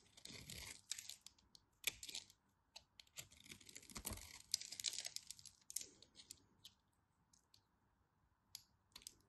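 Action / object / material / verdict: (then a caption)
scrape / bar of soap cut with a knife / soap / none. A knife cuts into a solid orange bar soap with a grid-scored surface and scrapes off flakes. Dry, bright crackling and crisp scraping come in quick bursts, then thin out into a few sharp ticks with quiet gaps between.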